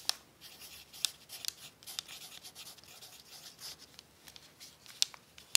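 A pencil tip writes cookie recipes on a crumpled brown paper sheet resting on a tablecloth. Soft, bright scratching and faint paper crinkle run throughout, broken by several sharp, high ticks as the pencil strikes the paper.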